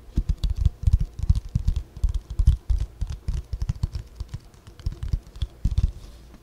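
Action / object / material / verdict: tap / spiral-bound paper notebook / paper / none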